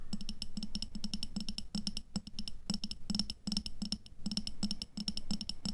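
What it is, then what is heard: Glass jar filled with water beads. Long fingernails tap rapidly on the walls of an upright clear glass jar with a black lid, filled with red water beads. The result is a dense stream of quick, bright clicking taps with a high glassy tone over a dull, low body, each tap fading almost instantly, with brief pauses between bursts.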